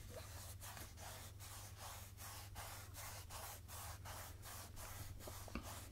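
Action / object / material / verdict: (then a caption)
scrape / plastic oil jug with pump top / plastic / none. Fingertips and nails rub and scratch the sides of a medium rectangular translucent plastic jojoba oil jug with a white pump top, mostly full of golden oil and held up in both hands. The result is a steady run of soft, airy, bright rubbing strokes, roughly one every second, over a constant low hum.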